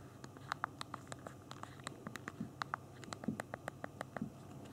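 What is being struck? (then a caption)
Handheld phone keyboard of small plastic keys. Thumbs type on the physical keyboard of a handheld BlackBerry phone, tapping its small plastic keys. About 25 short, dry clicks with a bright edge fall in an uneven typing rhythm, each dying away almost at once over a low, quiet background hiss.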